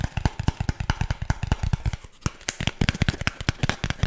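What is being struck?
Corrugated cardboard disc.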